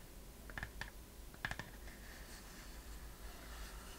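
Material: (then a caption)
Wood. Long painted fingernails tap a small, hollow, hand-held wooden chest-shaped box with a metal clasp and corner fittings, held in both hands. Two quick clusters of short, dry clicks ring around 1.7 kHz, then soft, faint scratching continues over a low background rumble.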